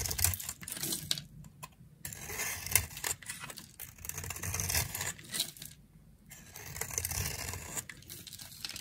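A utility knife blade carves a dry, solid round green soap held in the hand, shaving and flaking it off. The sound is a run of irregular, bright, crisp scraping and crumbly crackling bursts, with short quiet gaps between strokes and a faint low rumble underneath.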